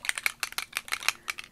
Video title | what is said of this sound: Scrap Time - Ep. 699 - Alcohol Ink Technique and La Blanche Stamps | You shake it up and you'll hear the little ball